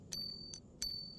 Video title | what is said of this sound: @FISHERYIN unboxes rods and reels | Hear that noise when I flick the spool? It's because this spool is made out of full titanium.